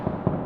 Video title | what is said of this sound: A Tour of my New House | So like if we knock on the walls, you can hear it's not insulated.